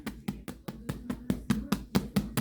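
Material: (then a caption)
Bread. A freshly baked loaf of English muffin bread, just out of the oven after about 15 minutes, is tapped 12 times in a steady rhythm. Each tap makes a short, hollow, low thump centered around 200 Hz with almost no ring. The hollow sound shows the bread is done.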